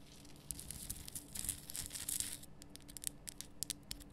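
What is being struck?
Rock salt lamp.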